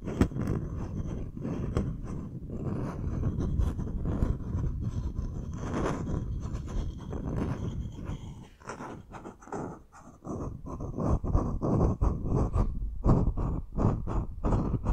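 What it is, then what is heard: Bamboo wooden bowl. A medium, hollow, empty bamboo wooden bowl is held upside down while its outer surface is tapped and scratched with short fingernails. Continuous low, dry scratching in the first half gives way to quick, irregular taps that each die away almost at once, with a deep, hollow body to the sound.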